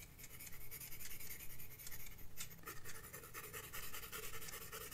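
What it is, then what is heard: Pencil scratching on a paper sketchbook page. A graphite pencil scratches strokes across a flat paper sketchbook page. The result is a steady, quiet run of dry, rasping scratches with a bright papery edge over a low, muffled rumble, swelling and easing with each stroke.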